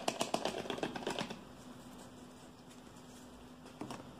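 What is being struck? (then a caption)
Plastic shampoo bottle. Fingertips and nails tap and grip a hollow, hand-sized green plastic shampoo bottle that appears partly filled. A quick, uneven burst of dry, bright clicks and taps fills the first second, then fades to a quiet low hum before a few more taps return near the end.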